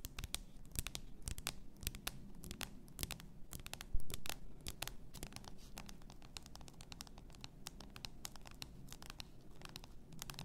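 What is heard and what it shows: Long painted nails tap and scratch the sides and neck of a tall clear bottle, likely glass, full of pink bath salt, with a gold cap and a pink label. A quiet, steady run of sharp clicks and scratchy rasps plays over a low rumble, with one louder knock near the four-second mark.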